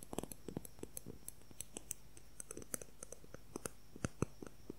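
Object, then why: Plastic ruler. A transparent plastic ruler is tapped rapidly with fingernails, producing a quick series of short, dry clicks. The clicks are separate and irregularly spaced, some louder than others, over a faint steady hiss.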